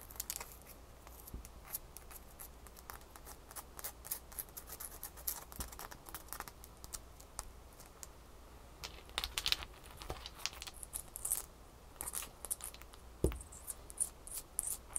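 A single small solid ice cube, held between the fingers, is scratched and tapped with long manicured fingernails. The result is a steady run of quiet, crisp, bright clicks and scratchy rasps over a faint low hum, with slightly louder bursts of tapping in the second half.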